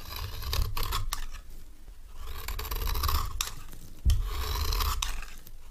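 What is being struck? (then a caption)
Bar of soap shaved with a metal knife blade. A metal knife blade shaves thin curls off the surface of a dry, palm-sized, solid orange bar of retro soap held in one hand, and the shavings fall onto a pile of soap flakes. Long, crisp scraping strokes swell and fade with a bright, papery rasp over a low rumble, and one sharper bump comes partway through.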